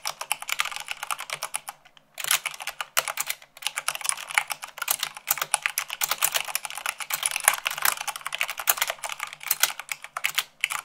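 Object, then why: Plastic mechanical keyboard. Fast typing with long acrylic nails on a full-size plastic mechanical keyboard with white keycaps on a black base, running at about 98 words per minute. Dense, bright, clicky taps run continuously with very short decay, broken by a brief pause near the two-second mark.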